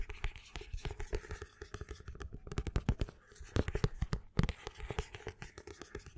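Fingers and nails scratch along the spine of a black paperback book held upright, and along the paper-and-card cover near the spine. The result is a quiet, dense run of short, dry scratches and taps with a soft, low-heavy body and almost no ring. It comes in uneven bursts with brief pauses.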